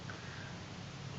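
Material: Nothing is struck.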